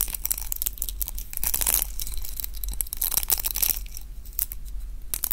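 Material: Plastic.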